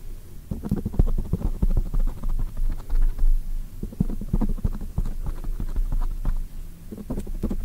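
Long white nails tap and scratch quickly on a black foam microphone cover from both sides. The result is a dense, irregular run of muffled, booming thumps and soft rustling, with almost all of the energy in the low end.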